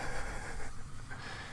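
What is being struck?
Nothing is struck.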